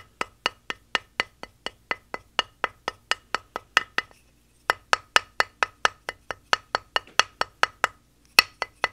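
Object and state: Plaster dig block, solid.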